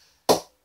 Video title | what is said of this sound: CA SM-18 Cricket Bat Review | Sounds very, very compact. Sounds like everything's working in a good motion.